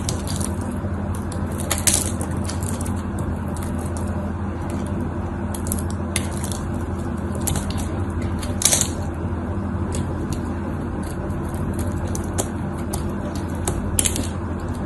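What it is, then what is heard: Dry, crumbly soap bar. A metal blade scrapes and cuts across the scored surface of a dried, solid cream soap bar held in one hand, cracking off dry pieces. A continuous dry, gritty scraping crackle runs over a steady low rumble, broken by occasional sharper, brighter snaps as pieces break away.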